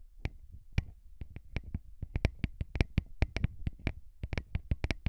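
Fingertips of both hands rub and tap directly on the two small, hollow, cylindrical metal X/Y microphone capsules of a handheld recorder, right on their mesh grilles. About 22 sharp, dry taps in quick, uneven succession each give a bright click over a deep, boomy low thump. Soft scratchy rubbing fills the gaps between them.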